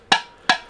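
Tapping the lid of a ceramic New York Times cookie jar makes it clank twice against the jar where the two ceramic parts meet, even with a silicone edge. Each clank is a short, bright, ringing knock. The lid sits loosely, so it will be packed separately to keep it from cracking in transit.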